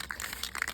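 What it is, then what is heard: Spray paint can shaken to mix. A metal aerosol can of flat black spray paint is shaken to mix it before spraying. Its contents give five quick, bright rattling clicks that stop almost instantly, with little low end.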